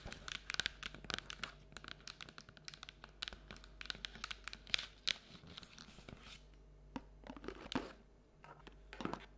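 An empty paperboard Halloween treat bucket is held and lifted in both hands while long nails tap its printed side and rim. The taps are quick, bright, dry clicks with almost no ring, coming in rapid clusters for the first six seconds and then in sparser bursts. A faint low hum sits underneath throughout.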